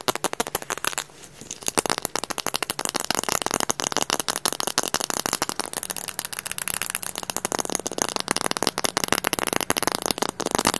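A small dark plastic eyeglasses frame with lenses, held in both hands, is rapidly tapped and scratched with fingernails on the frame and lenses. The result is a fast, dense stream of sharp, dry clicks and crackly scratches with almost no low end and a bright top, broken by a brief softer stretch near the start.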